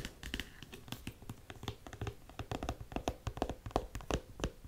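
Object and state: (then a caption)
Studded suede boot. Long nails tap quickly on a black studded faux suede boot held up in the air, striking both the suede and the studs. The result is an irregular run of short, dry taps with soft low thumps and a few brighter clicks, each dying away almost at once.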